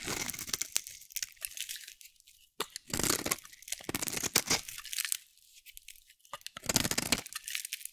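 A solid, dry pink bar of soap held in the hand is shaved with a metal utility blade. Bursts of crisp, bright scraping crunches repeat with short quiet gaps between them.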